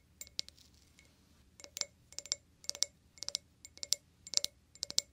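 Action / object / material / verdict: tap / glass wine glass / glass / none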